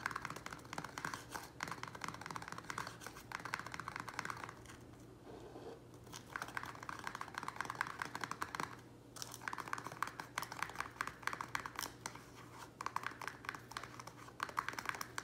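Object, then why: Thin plastic plant pot. A small square black plastic nursery pot, used for repotting an Echeveria Lola, sits on a wooden table while its rim and sides are tapped quickly with fingertips and nails. The result is dense, rapid, dry plastic clicking and ticking, with brief quieter lulls around the 5 to 6 second mark and near 9 seconds. A faint steady low hum runs underneath.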